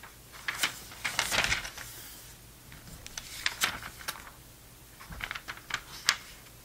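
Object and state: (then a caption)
Glossy paper magazine. An open glossy paper magazine, a November 2002 issue of Sports Illustrated, has several thin pages flipped quickly by hand, and the spread is flattened with the fingers. The result is quiet, bright, crisp paper rustles and crinkles in short bursts, with sharp ticks and snaps between them.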